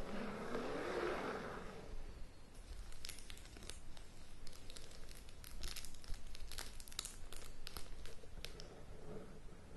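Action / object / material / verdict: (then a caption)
tap / cardboard box in plastic shrink wrap / plastic film / none. A large rectangular cardboard board game box, still sealed in clear plastic shrink wrap, lies flat on a bed while long painted nails tap and scratch across the top of the lid. Soft crinkling plastic-over-cardboard sounds come through with rapid, bright clicks and scratches over a low, dull rumble. The first two seconds carry a warmer rustling swell before the quick tapping takes over.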